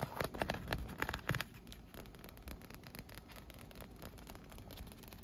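A leaf-print, inflated PVC vinyl pool float with round holes, hollow and air-filled, is tapped and scratched with long nails and fingertips. Several louder, hollow taps come in the first second and a half, then give way to a steady run of quieter, bright scratching and light pattering across the vinyl surface.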